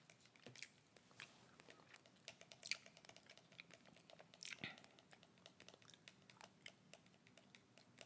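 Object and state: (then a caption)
Small plastic sanitizer bottle. Long red acrylic nails tap and click rapidly on the front and label of a small, flat, dark plastic pocket hand-sanitizer bottle with a white cap, held in a gloved hand and partly filled with liquid. The result is a quiet, fast run of sharp, bright clicks with almost no ring, with a few louder taps standing out.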